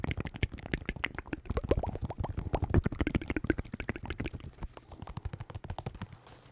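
Fingers tap rapidly on a pair of white New Balance 608 sneakers with synthetic leather uppers and rubber soles. The run of short, dull taps has a deep, low thump and little brightness, each dying away almost instantly. The taps grow softer and sparser toward the end.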